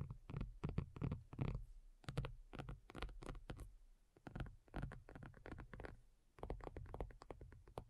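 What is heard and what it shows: Long nails on both hands tap a thin, hollow-backed black folding faux leather iPad cover lying flat. The result is a rapid, uneven run of soft, dull taps that die away almost instantly, with a deep, hollow, low-heavy thump and little brightness, coming in bursts separated by brief pauses.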